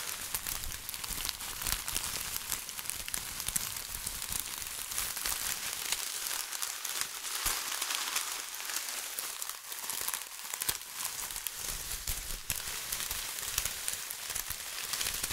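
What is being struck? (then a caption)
Foil-plastic tinsel garland. Fingers squeeze and crinkle a bunched silver foil-plastic tinsel garland of light, fluffy strands, held in both hands close to the mic. The result is a dense, steady, bright crinkling and crackling with very little low end, easing briefly about two-thirds of the way through before picking back up.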